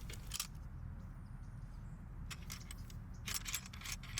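A collapsed Oben ACM-2400L aluminum monopod with plastic section locks and a ball head is shaken to test whether it rattles or makes annoying noise while being carried. Bright metallic jangling rattles come in bursts over a steady low background rumble.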